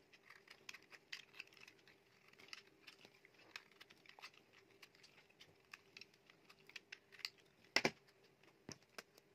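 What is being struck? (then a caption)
Bar of soap cut with a knife blade. A metal utility knife blade carves a solid, dry, light green bar of soap down to thin slices held in the palm. The blade makes a quiet run of crisp, bright scraping and crackling cuts over a faint steady hum. A sharper, louder snap comes near the end.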